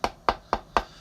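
Knuckle... no, striker not given. A carved and painted wooden piece, which is hollow, is knocked four times, giving short, dry, hollow knocks centred around 900 Hz that die away almost at once.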